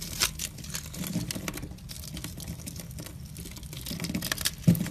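A metal box-cutter blade shaves thin strips off a solid oval green bar soap embossed with "Fax," held in the hand. It makes a steady, dense, crackly scraping and cutting sound with bright, crisp edges over a low, soft rumble. Louder snaps come near the start and a sharper burst near the end.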